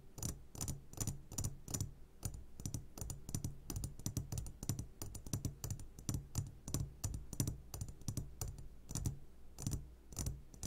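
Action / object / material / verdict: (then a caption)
tap / glass jar filled with gummy candies / glass / none. A medium glass jar full of sugared gummy candies sits upside down while the fingertips of both hands tap rapidly on its sides. The result is a dense, uneven run of short, dry clicks with bright high edges over a low, dull thud. The taps come in quick flurries for the whole clip.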